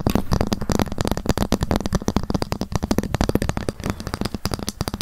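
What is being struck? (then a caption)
Ruler tapped with fingernails. A ruler is tapped rapidly, and sometimes scratched, with long fingernails. The result is a dense, steady stream of short, dry clicking taps with a low, hollow body, each one dying away almost instantly.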